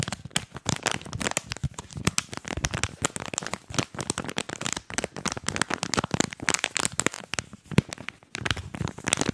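Fingers crinkle and press the clear plastic shell of an earphone blister pack and tap its printed card. The result is a dense, rapid stream of sharp, dry crackles and clicks spanning low thumps to bright highs, each snap dying away almost instantly, with a few brief pauses.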